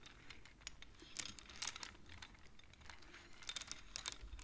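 Both hands tap and push the colored wooden beads of a wooden abacus with their fingertips and long nails. The result is a quiet, irregular run of quick, dry, bright clicks and light clacks, each dying away almost at once, over a soft low rumble.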